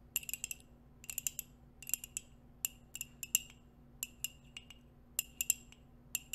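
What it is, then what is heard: Ceramic coffee mug tapped with nails. A hollow white ceramic coffee mug, held in both hands, is tapped with long nails and metal nail rings. Quick bursts of bright, glassy clinks come in clusters, each dying out almost at once. A faint steady low hum sits underneath.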